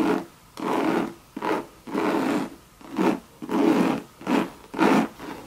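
Long, sharp red nails scratch a hollow Louis Vuitton Monogram coated canvas bucket bag and its leather trim. Repeated dry, rasping strokes come in short bursts of uneven timing, separated by brief quiet gaps. The scratching sits mostly in the low-mid range, with little deep bass or bright top.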